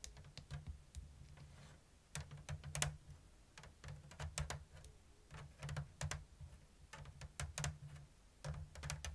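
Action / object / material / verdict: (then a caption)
tap / woven bamboo lattice basket / bamboo / none. Long blue nails tap the thin strips of a round, hollow bamboo basket woven in an open diamond lattice. The result is irregular, unevenly spaced, sharp, dry clicks with bright tops that die away almost instantly, over a steady low hum.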